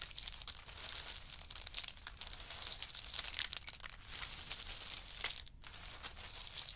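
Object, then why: Pile of in-shell pistachios. A large pile of in-shell pistachios on a fur mat is raked and stirred with a wooden spoon and a chopstick. The result is a continuous, bright, crinkly rattle of dense shell clicks with little low end, punctuated by sharper clacks and a brief quiet dip near the end.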